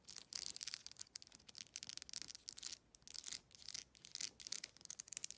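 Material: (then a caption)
Plastic. Long nails strum and scratch the teeth of a black plastic wide-tooth comb. Quick bursts of dry, high, bright scratching come in uneven runs with short pauses. There is almost no low end.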